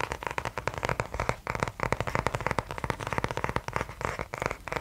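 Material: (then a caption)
Cardboard. A small notebook with a kraft cardboard cover and a metal spiral binding is held in the hand close to the mic and worked with the fingers. The result is a dense run of quick, dry taps and scratches with a crackly, papery texture. Each tap dies away almost instantly, with brief pauses between bursts.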